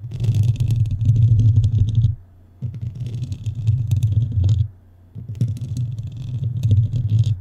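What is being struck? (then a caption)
Metal mesh microphone grille. Long nails scratch across the black metal mesh top of a microphone in three bursts separated by short pauses. Each burst is a dense, low, rumbling scrape with a thin bright crackle above it.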